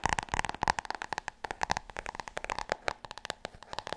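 Long nails rapidly tap and scratch the cover of a large, solid, glossy hardcover book, which is sometimes held up close. About two dozen quick, crisp clicks come in a fast, uneven stream, with a dry, hollow mid tone and brighter scratchy edges. Each tap dies away almost instantly.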